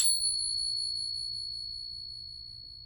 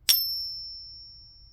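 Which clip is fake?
The second.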